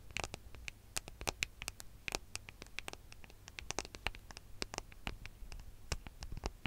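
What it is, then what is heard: Smartphone with metal and glass body. Fingernails tap and scratch the back of a small, solid gold-coloured smartphone with a metal and glass body, held flat in both hands with its back facing the microphone. Many quick, sharp clicks sound with bright, dry edges and almost no ring, spread over a faint low hum.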